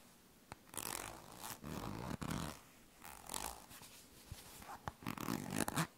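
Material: Plastic.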